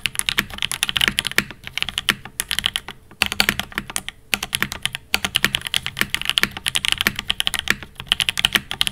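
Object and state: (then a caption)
Mechanical keyboard with aluminum case and plastic keycaps. Two hands type with their fingertips on a Fox Labs Time80 Reforged mechanical keyboard with Alpaca V1 switches, an aluminum case and ABS plastic keycaps, including presses on the long pink spacebar. A rapid, steady stream of bright, short clacks breaks off in brief pauses near three and five seconds. Each keystroke dies away almost instantly.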